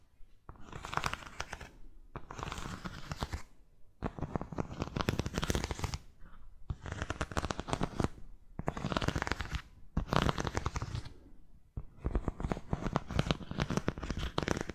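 Long nails tap and scratch the cork footbed and white straps of a cork-soled sandal that is held up. The result is about seven dense bursts of rapid, close scratching and tapping, separated by short pauses, with a muffled, low-heavy tone.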